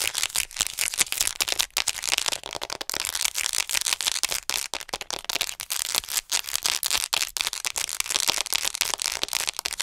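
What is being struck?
Plastic acupuncture model doll.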